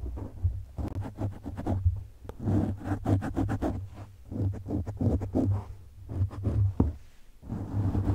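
The fingertips and short nails of both hands scratch and rub across a medium-sized, rounded black foam windscreen of soft, porous foam fitted over a microphone. The result is a steady stream of muffled, crackling scratches and brushing strokes over a heavy, low rumble. The bursts come in quick clusters with brief lulls in between.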